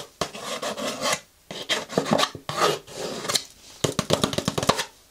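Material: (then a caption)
Paper. Long nails tap and scratch the sides of a small, hollow, cream-and-gold patterned paper gift bag with rope handles and a gold ribbon bow, held in the hands. Dry, papery rasping scratches come in several bursts separated by short pauses. The clip ends with a quick run of crisp, bright taps that die away instantly.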